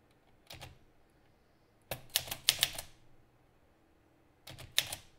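An Olivetti Lettera 32 portable manual typewriter with a pale green metal body and plastic keys, paper loaded, is typed on with the fingertips of both hands so the typebars strike the platen. Short bursts of sharp, bright metallic clacks come in three clusters with quiet gaps between, over faint fan noise in the background.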